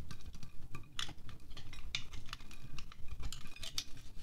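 A small red-handled knife blade scrapes and shaves wax off the white top of a solid green pillar candle held in one hand above a glass plate. Quick, dry, scratchy strokes follow one another in short bright rasps over a faint low rumble, and the shavings fall softly onto the plate.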